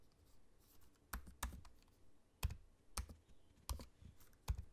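Fingertips of both hands type slowly and irregularly on the low-profile black plastic keys of a space-grey aluminium laptop. Quiet, dry key clicks with a soft low thump stand apart from each other and cut off almost instantly, over a faint background hiss.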